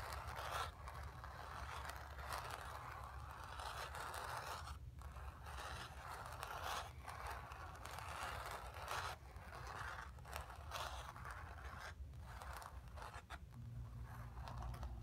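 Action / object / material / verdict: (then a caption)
scrape / stretched painted cotton canvas / cotton canvas / none. Long nails on both hands scratch the lower dark area of a stretched, painted cotton canvas lying on carpet. The result is a steady, dry scraping rustle with brief pauses. A low hum sits underneath throughout.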